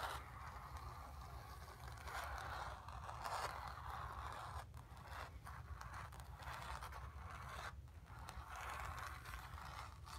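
Long pink nails scratch with both hands across a stretched cotton canvas, painted grey with a sphere, about 30 cm square, lying flat on carpet with a drum-like hollow back. A steady, dry scraping and rustling runs throughout, centred in the midrange around 1 kHz, over a soft hollow low rumble, with brief swells and dips in intensity.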